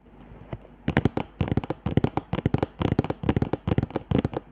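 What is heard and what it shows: Long painted nails of both hands scratch and tap along raised, dried hot-glue zigzag and line ridges on a flat cardboard sheet held upright, with a mini mic taped to the lower board and bead bags attached but left untouched. After a quiet, faintly rustling start, 22 quick, dry, crackly taps and scrapes follow in tight rhythmic clusters, each dying almost instantly. The sound is mostly dull and low with little bright edge.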